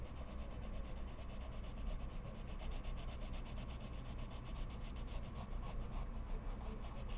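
A wood-cased colored pencil tip is drawn in short scratching strokes across a large flat sheet of white mixed media paper in a pad on a wooden desk, shading flower petals, while the other hand holds a bundle of pencils. A soft, continuous scratchy rubbing runs throughout at a low, steady level over a dominant low rumble.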